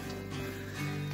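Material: Nothing is struck.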